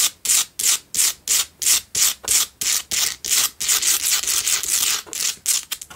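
Long nails scratch around the surface of a lit, cylindrical pink Himalayan salt single tealight candle holder. Quick, bright, dry rasping strokes come in a steady rhythm, then blur into a near-continuous scratch before ending in faster, shorter strokes.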